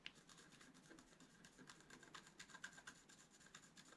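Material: Coated paper.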